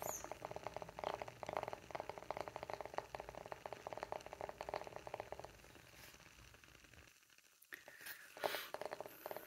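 Fingernails rapidly tap and scratch the engraved face of a round, flat, palm-sized solid light-wood coaster, making a dense series of short, dry midrange clicks for about five seconds. The tapping then gives way to softer scratching, a brief near-silence, and a few louder scratchy bursts at the end.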